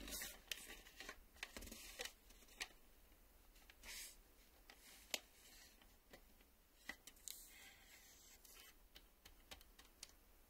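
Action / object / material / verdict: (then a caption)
tap / plastic video cassette / plastic / none. A black plastic VHS cassette is turned in the hands while fingernails tap on its face and along its edge. The result is a string of sharp, bright, quiet clicks with short decays over soft rustling handling noise.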